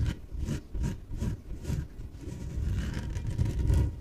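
Long nails scratch the surface of a small, hollow, air-filled yellow inflated PVC exercise ball. Four distinct scratching strokes come first, each a low, hollow rumble with a brief airy hiss, and then they merge into steadier rubbing that gradually grows louder toward the end.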